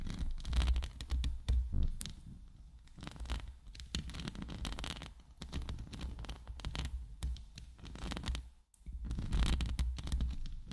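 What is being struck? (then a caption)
Woven steel microphone grille. Long acrylic nails scratch and tap, from both sides, the hollow woven steel mesh grille of a large condenser microphone with a rhinestone band at its base. The result is a dense, irregular run of scratchy rustles and quick taps over a heavy low rumble, with a brief drop to near silence near the 8.7-second mark.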